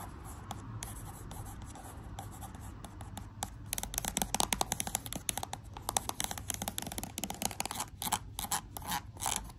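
Long blue acrylic nails tap and scratch across a pink and gold "Love Magic" plastic lotion tube, hollow and filled with product, lying flat on a white sheet. Soft, steady scratching gives way to rapid, sharp, bright clicks with a dry, quick decay over a low background rumble.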